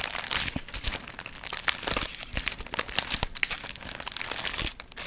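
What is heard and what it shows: Long nails scratch and crinkle the gold foil fringe on a medium hollow paper pumpkin piñata held in both hands. The result is a continuous, bright, dry crinkling and crackling with quick scratchy bursts and very little low end.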